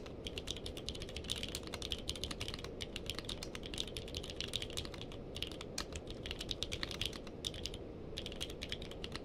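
Two hands type with their fingertips on a purple-cased mechanical keyboard with plastic keycaps, making a rapid, steady stream of short, bright clacks that cut off almost instantly. The keystrokes centre around 3.6 kHz and sit over a constant low rumble, with a few brief pauses between bursts of typing.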